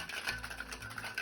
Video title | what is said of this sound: Quarantine Cocktails Part 3 - The Creamsicle, White Russian | You want to hear that cling clang when you shake it.